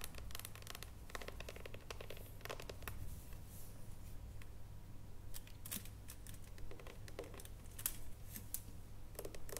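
A solid dark chocolate bar, held in both hands and then stood upright on its foil, is tapped with long nails. Quiet, irregular bursts of sharp, bright clicking taps decay almost instantly over a steady low hum.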